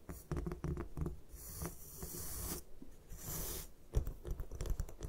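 Long nails tap and scratch a solid white gym chalk block resting on a table. Soft, dull taps with low thumps alternate with dry, bright scraping sweeps, all short with no ring.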